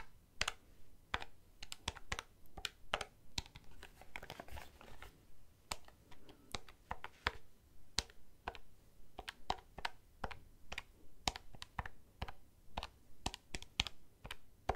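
A black plastic desk calculator held in one hand has its keys tapped and pressed by fingertips, giving about forty short, dry plastic clicks over roughly fifteen seconds. The clicks come at an uneven pace, with a brief stretch of softer rustling texture around the middle. Each click is bright and dies away almost instantly over a faint low background hum.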